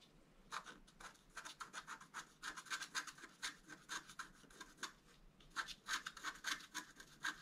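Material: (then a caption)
Coated card. A wooden stylus scratches fine lines into the upper pattern of a flat black-coated scratch art paper board. Many quick, dry scratching strokes come in uneven bursts, each a crisp, bright rasp with no ring and almost no low end. The scratching stays quiet and close throughout, with a brief pause near the middle.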